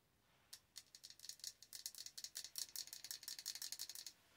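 Long orange nails tap on the glass side of a large glass jar candle filled with solid wax. A quick, irregular run of sharp, bright clicks begins after half a second of quiet and continues for about three and a half seconds. Each click dies almost instantly, with no low ring or body.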